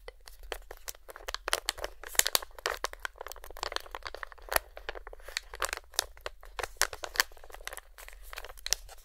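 A hand-sized, filled Feline Greenies resealable plastic, foil-lined cat treat pouch is held and squeezed with the fingertips. Dense, sharp crinkling and crackling snaps run throughout, bright and broadband, each dying away almost instantly. A faint low hum sits underneath.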